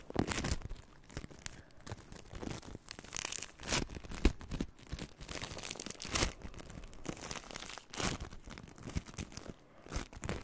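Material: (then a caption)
Polystyrene beads. A handful of green crunchy floam, made of polystyrene foam beads in slime, is held in both hands near the microphone and squeezed and crunched with fingertips and long nails. A dense, continuous run of sharp crackles, pops and sticky tearing crunches comes through, with brief louder bursts rising over a steady bed of fine bead crackle.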